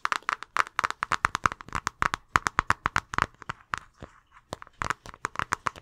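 An empty clear plastic zip-top bag with a blue seal is held in both hands while fingers crinkle and squeeze the thin plastic. A rapid series of short, sharp crackles centred in the midrange with bright high edges is heard, with a brief quieter gap before the crinkling picks up again.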